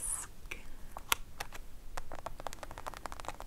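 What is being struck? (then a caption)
Foil sachet. Long acrylic nails tap and scratch across a thin, nearly flat gold metallized foil sachet from a Skin Glow London sheet mask, lying on a dark cloth. A quick, uneven series of short, crisp, bright clicks mixes with faint crinkly scraping. Each tap dies away almost instantly.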